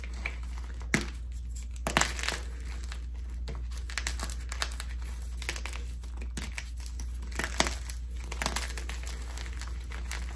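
Dyed red and purple gym chalk chunks (magnesium carbonate) and powder in a clear bowl are crushed and crumbled between bare fingers and palms. Brittle, dry crunches and crinkly crackles break out in bursts over a steady low hum. The solid chunks break apart into powder.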